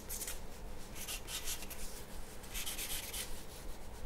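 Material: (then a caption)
Paper. A graphite pencil shades a large, flat sheet of white drawing paper resting on a wooden table with quick strokes. It makes a steady stream of bright, scratchy rubbing bursts in an irregular rhythm over a low, constant rumble.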